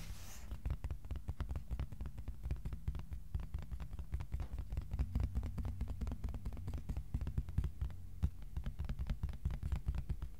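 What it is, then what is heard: Cardboard sheet. A thin, flat, solid white cardboard sheet about A4 size is held upright in both hands and tapped with short-nailed fingertips. The result is a quick, steady run of soft, dull taps over a low, throbbing hum, with each tap dying away almost instantly.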